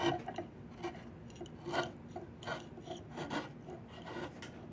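A flat steel blade is pushed along the surface of a long, solid diamond willow branch being carved into a walking stick, in rapid scraping strokes. Dry, rasping scrapes come in short, irregular bursts, with a midrange body and a bright, airy edge. Each stroke stops quickly, with almost no ring.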